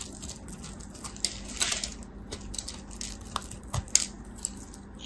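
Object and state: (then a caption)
Soap bar. An orange-and-white striped, palm-sized solid soap bar held in hands with long white nails is scraped and shaved with a small utility knife blade, and the flakes crumble off. Short, bright scraping and crackling sounds come in quick bursts over a low, steady hum, with a few sharper clicks standing out.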